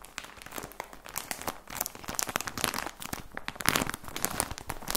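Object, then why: Plastic package of socks. A plastic package of socks is held up and squeezed by fingers, giving a continuous run of dense, bright crinkling and crackling. The many short, sharp crackles come without pause and rise to louder bursts near the middle and toward the end.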